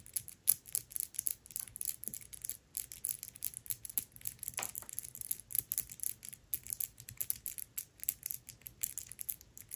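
Long nails tap and scratch the paper dust jacket of the hardcover book *Tress of the Emerald Sea*, which lies flat. The result is a quiet, steady stream of crisp, dry ticks and papery scrapes, bright and hissy with almost no low end. Each tap stops dead without ringing.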